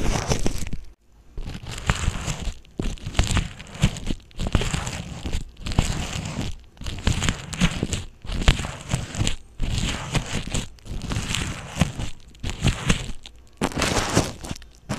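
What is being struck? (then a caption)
Plastic bubble wrap. Clear plastic bubble wrap laid over an earphone mic is pressed and rubbed with a fingertip, giving bursts of close crinkling and crackling with a heavy low rumble from the contact. The bursts come in repeated stretches separated by short quiet gaps.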